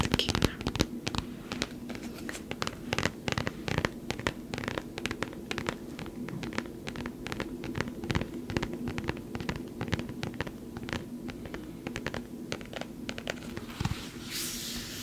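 Long nails scratch and tap a small, soft foam toy football, white with blue stripes, in rapid dense bursts. The result is a steady stream of short, dry scratching and tapping sounds with a low hum underneath.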